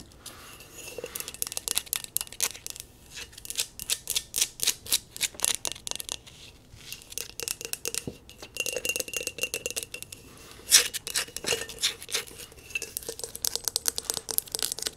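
A medium, hollow, brown and black glazed ceramic bowl is held upside down in one hand and tapped with long nails on its outer surface and base. Rapid, bright clicking taps come in quick bursts with short gaps, each tap ringing only briefly with a faint resonant tone.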